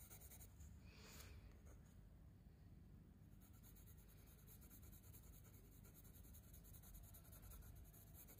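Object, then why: Wooden coloured pencil on a paper sketchbook page. A wooden coloured pencil tip scratches and rubs across a spiral paper sketchbook page lying flat on a surface, in repeated colouring strokes. The sound is a quiet, steady, papery scratching over a low rumble, with a brighter, hissier swish near the one-second mark.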